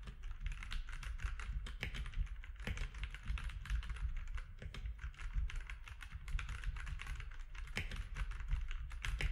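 Fingertips of both hands type on a compact grey-and-white mechanical keyboard with plastic keycaps resting on a desk. A rapid, continuous stream of short, dry keystroke clacks plays throughout, each with a bright click over a low, thumpy body, plus a few sharper accented presses.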